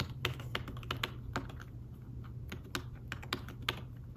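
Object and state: Fabric-covered tablet keyboard.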